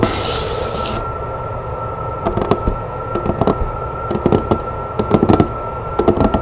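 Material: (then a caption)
Cardboard. Long nails scratch and tap on the top and side of a large, hollow, rectangular patterned cardboard box with a metallic print and its lid on. A bright, hissy scratch opens the clip, followed by quick clusters of dry, hollow-sounding taps over a faint steady tone.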